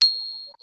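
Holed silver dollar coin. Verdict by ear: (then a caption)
Real. A holed silver Morgan dollar, once worn as a necklace, is pinged once and gives a single bright, high ring that sustains for about half a second before fading. It rings well.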